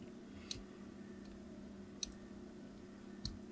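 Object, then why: Bar of hard soap. A craft knife blade scores diagonal lines into the surface of a solid, opaque, palm-sized yellow hard soap bar held on a table, with a green soap bar sitting idle nearby. Three short, sharp, bright clicks are heard, spaced unevenly over a steady low background hum. Each click dies away almost instantly.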